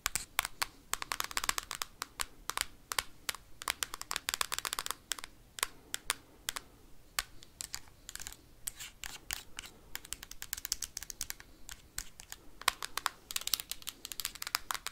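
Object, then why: Hard plastic handheld game console tapped with metal paperclips. A bunch of metal paperclips held in the fingers taps and scratches fast across the hard plastic casing of a handheld Nintendo Switch game console. Dense bursts of sharp, bright clicks and dry scraping come in quick irregular runs, with a tone centred around 1 kHz. Each click cuts off almost at once, with no ring after it.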